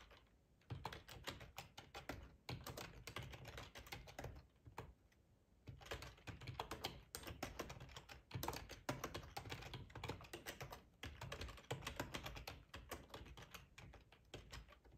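Fingertips of both hands type on a full-size black plastic ergonomic split keyboard resting on a cloth tablecloth. Rapid, soft clicking keystrokes have a low thump beneath them, with brief pauses between bursts of typing.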